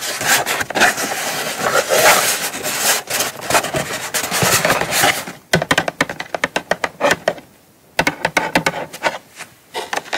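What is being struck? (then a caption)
Small cardboard box. Long nails scratch and rub across the lid and side edge of a small, closed, hollow brown kraft cardboard gift box. For about five seconds there is a dense, continuous bright rasping. It then breaks into quicker separate scraping strokes with short silent pauses between them.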